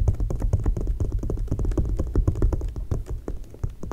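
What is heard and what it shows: Long nails tap rapidly on an open glossy paper magazine spread lying flat. The result is a dense, uneven run of short, dry taps with a low thud body and faint bright clicks on top.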